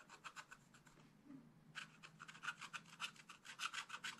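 A wooden stylus scratches the leaf area of a flat, black-coated scratch-art page in a spiral-bound book with rapid strokes. The result is a quick series of dry, bright, raspy scrapes with a brief pause early on before the strokes resume at a steady pace.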